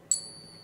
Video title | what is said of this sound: 5 great ways to test your gold and silver at home! | a glorious nice resonating ping and that comes from the structure of the silver in the silver coin form